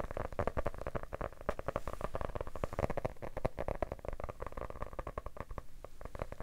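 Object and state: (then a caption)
Hardcover book tapped with fingertips. Fingertips tap rapidly and continuously on a medium yellow hardcover paper book, held closed and solid in one hand. The taps are soft, dull thuds with a low, hollow body and no ring, running as a steady patter across the whole clip.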